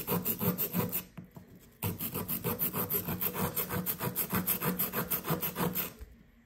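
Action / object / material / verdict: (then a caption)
scrape / compressed sand block scraped with plastic chisel / compressed sand / none. A solid blue compressed sand dig brick, held by hand, is rubbed with a fingertip and scraped with a blue plastic chisel. It makes a steady run of gritty scratching strokes at about three per second. The strokes break off briefly near the start, then resume and continue until they fade at the end.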